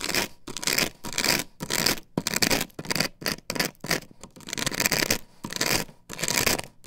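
Long nails scrape across the patterned surface of an upright plastic stencil template glued to a wooden board. Bright, dry scratching comes in repeated short strokes and bursts of varying pressure, separated by brief pauses.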